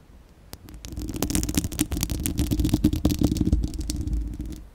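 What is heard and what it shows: A hollow, fist-sized spherical steel wire-mesh microphone grille, left bare, is scratched by the long acrylic nails of both hands. The result is a dense, uneven run of crackling scratches over a deep low rumble. It starts quietly and builds to a busy middle, with sharp bright ticks and a steady hum near 300 Hz, then eases off.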